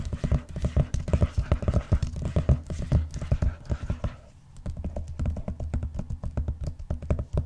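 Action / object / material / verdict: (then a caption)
tap / vinyl-covered binder / vinyl / none. Fingernails tap rapidly on the cover of a closed blue textured vinyl-covered binder, producing dozens of quick, dull, low-pitched taps with no ring. The tapping runs steadily, pauses briefly just after the midpoint, then resumes at the same quick pace until the end.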